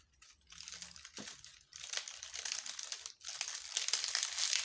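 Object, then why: Bundle of dried leaves. Fingers with long nails crush, crinkle and rub a bundle of brittle, dry yellow-brown leaves held up close. Dense, bright crackling comes in three bursts separated by brief quiet gaps, growing louder and sharper toward the end.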